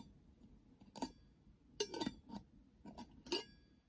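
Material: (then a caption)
Glass, metal. Long fingernails tap and scratch a small, round, clear glass jar with a silver metal screw lid; the jar is hollow with a few colorful items inside. Quiet, scattered bright clinks and clicks ring briefly against a soft background hiss.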